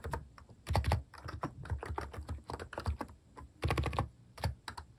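Fingertips type steadily on a compact contactless keyboard fitted with plastic cat keycaps. A continuous run of quick key presses produces a deep, muffled, rounded thock with little brightness. Each stroke is short and dry, and the rhythm comes in uneven bursts.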